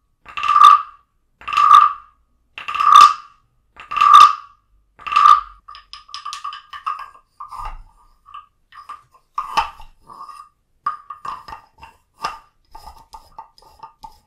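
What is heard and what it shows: A small hollow carved wooden frog figurine, held in a hand, is tapped five times with a wooden stick, giving hollow, woody knocks with a clear tone around 1.2 kHz and a quick decay. The stick is then scraped along the frog's ridged back, producing quieter, uneven runs of rapid clicks and short croaking rasps.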